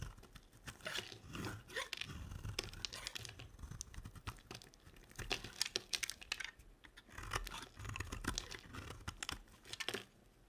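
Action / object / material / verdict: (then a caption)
scrape / bar of soap / soap / none. A small blade scrapes and carves curled dry shavings off a solid, hand-sized green soap bar held in one hand. Repeated bright, crackly scraping and crunching strokes come in bursts, with short pauses between them.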